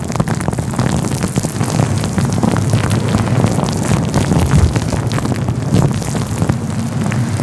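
Fingertips rub and pinch a fluffy grey-white synthetic faux fur windscreen covering a microphone. The result is a steady, dense, low rumbling muffle with soft crackly scratching and brief brighter rustles throughout.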